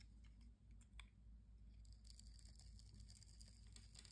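A metal blade scores and scrapes a solid green bar of soap with round bumps, held in the hand, peeling off crunchy curls. Soft, crisp scratching and brittle crackling ticks come bright and short over a steady low hum. The crunching thickens and grows busier in the second half.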